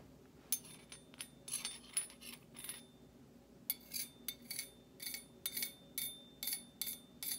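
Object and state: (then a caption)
Stainless steel slotted spoon tapped and scraped. A table knife with a dark handle and metal blade taps and scrapes against the bowl of a large, hollow-bowled stainless steel slotted serving spoon held upright. The result is a quiet, irregular series of bright, high-pitched metallic clinks with a thin ring, broken by short rasping scrapes. Each sound dies away quickly.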